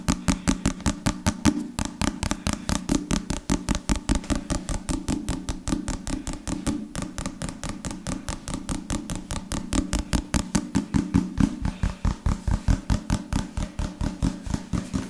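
A dark leather or leatherette-covered solid book, held in one hand, is tapped and scratched on its cover and edges by the other hand's fingertips and nails. Around seventy quick, dull, low knocks with very short decay follow in a fast, uneven rhythm, carrying a faint hollow tone near 300 Hz and soft scratchy texture between the taps.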